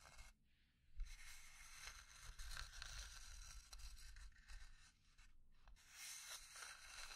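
Long dark nails scratch and tap a small hollow pine box with burned grain and an engraved J on its lid. Bright, rough scraping and rustling runs almost continuously, broken by brief gaps and soft taps over a low hollow rumble.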